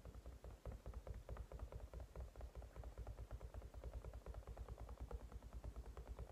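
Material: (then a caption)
Silicone. A hand-sized white cat-shaped silicone night light with a matte shell, probably hollow, sitting on a table, is tapped quickly by both hands with fingertips and short nails, then gripped at its sides. The result is a fast, uneven stream of soft, dull, low thumps with very short decay and hardly any bright content.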